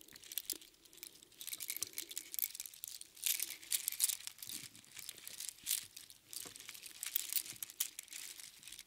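A large bunch of small, hollow, empty spiral sea snail shells threaded on string is scooped up and jostled in both hands. The shells clatter and crunch together in a dense, bright, crinkly rattle that rises and falls in bursts for about nine seconds, with almost no low end.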